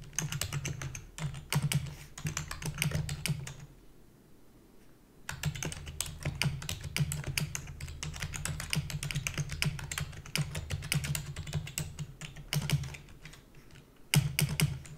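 Rapid typing on a black full-size plastic computer keyboard with hollow key housing, the keys pressed by fingertips with long natural nails. Dense bursts of sharp, bright clicks ride over a hollow, low clacking body, with a brief pause around four to five seconds and a quieter stretch near the end before a final loud flurry.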